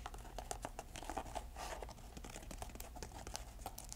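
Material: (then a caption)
Canvas. Long nails scratch and tap the canvas upper and insole of an empty grey canvas velcro shoe held in the hands. A rapid run of short, crisp taps rides over a dry, crinkly scratching texture and a steady low rumble.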